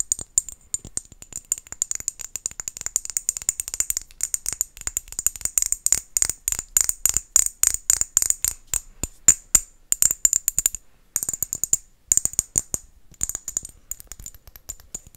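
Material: Glass.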